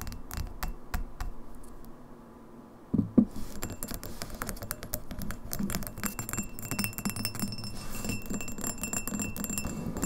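Long nails tap quickly on the sides of an empty, hollow, clear etched Red Lobster pint glass standing on a table. The result is a dense run of light clicks and glassy ticks with short ring, including a louder cluster of taps partway through.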